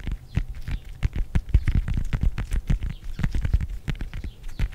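Fingertips and nails quickly tap and scratch the peel of a whole fresh orange, palm-sized and solid, held in front of the microphone. The result is a dense, rapid run of dull, low thumps mixed with short, dry scratchy ticks that stop almost instantly, with no ring.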